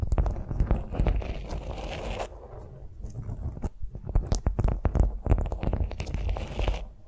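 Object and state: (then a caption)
Beeswax-coated cotton food wrap. Long nails tap and scratch a flat beeswax-coated cotton food wrap lying on a vinyl mat. The result is an irregular run of crinkly, crunchy taps and scrapes with a heavy low thump beneath. The sounds quiet to soft scratching partway through, then return in denser bursts.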